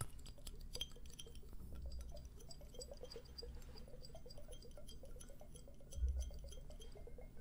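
Two matching hand-sized hollow glass hourglass timers filled with purple liquid and bubbles are shaken and tilted, one in each hand, close to a dummy-head microphone. Quick, quiet clinks and light glassy taps tick along over a soft, low sloshing rumble, with a brief louder swell near the end.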